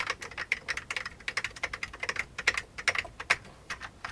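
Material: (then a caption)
Plastic. An old beige full-size plastic computer keyboard with hollow keycaps is typed on rapidly with the fingertips of both hands. The result is a quick, irregular run of bright, hollow, clacky key taps centered in the upper midrange, with almost no low end and very short decay.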